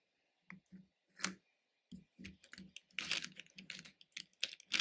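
Fingertips stir loose red, orange and yellow hard-shelled candies in a small pink plastic bowl, picking pieces up and dropping them back. Short, bright clicks and rattles start sparse, then come faster and denser, each dying away almost instantly.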